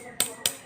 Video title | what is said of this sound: class 11 philosophy 3Rd chapter। দর্শন একাদশ শ্রেণি জ্ঞান লাভের ছয়টি পদ্ধতি। | স্কেলটাকে ঠুকে ধাতব আওয়াজ শুনে এটাকে জানছি যে এটা ধাতু দিয়ে তৈরি